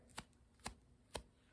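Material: Feather.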